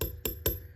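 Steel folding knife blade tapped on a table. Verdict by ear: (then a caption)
Thin. Three quick taps of the thin steel blade of a Gunslinger folding knife, thinner than another knife's blade, against a table. Each tap gives a dull knock with a high, thin ring that carries between the hits and fades after the last one.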